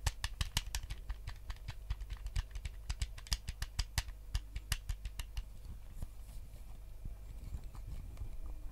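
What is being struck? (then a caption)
Plastic game controller. Fingertips tap on the back and face of a white GameCube controller's hollow plastic shell, giving rapid, crisp, short clicks with bright tops over a steady low hum. The taps are sharp and closely spaced for the first five seconds, then turn softer and sparser as faint rustling takes over.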